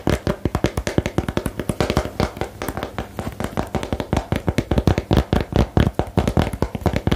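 Long nails tap fast on a small, hollow rectangular cardboard box for the 'Geheimakte' card game, producing a rapid run of about fifty dull, low, hollow knocks. Each tap dies away almost instantly, and the rhythm speeds up and bunches together in the second half.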